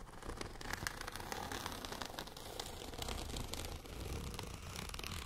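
Long nails scratch across a tall, transparent holographic plastic zipper pouch with lettering and contents inside. The result is a steady, dense crinkly scratching with bright crackles over a low rumble, continuing evenly for about five seconds.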